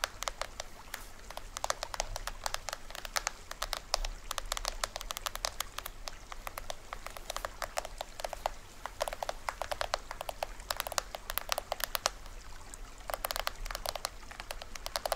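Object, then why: Small plastic toy drum. A small hollow plastic toy drum is held upright while fingers and nails tap rapidly on its top head and green plastic rim. The result is a dense stream of short, dry, bright clicks and light patters that stop instantly, over a faint low hum.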